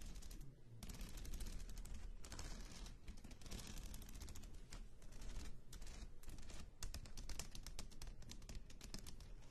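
Long acrylic nails tap rapidly on the cover of a medium-size spiral-bound paper notebook lying flat on a table, with a pen held in the other hand. The result is a dense, continuous stream of fast, clicky taps with bright transients over a low, rumbling undertone.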